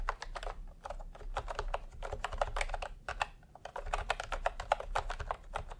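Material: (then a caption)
Plastic. Fingertips type continuously on a full-size plastic typewriter-style computer keyboard with round retro keycaps in peach and cream, lying on a white cloth. A steady run of about 33 quick, dry clicky taps, centered in the mid range with short brighter edges, sits over a low rumble.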